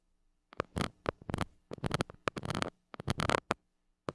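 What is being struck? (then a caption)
Metal mesh microphone grille rubbed with a plastic stick. A white plastic stick rubs and scratches the hollow metal mesh grille of a small gold mini microphone. It makes a series of short, close, scratchy bursts of rasping friction noise with a bright edge, separated by near-silent gaps. A faint low hum sits underneath.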